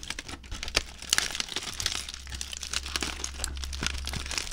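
A ball of crumpled aluminium foil is unfolded and crinkled by hand, making a dense run of sharp, bright crackles and crinkles with a few louder snaps. A steady low hum sits underneath throughout.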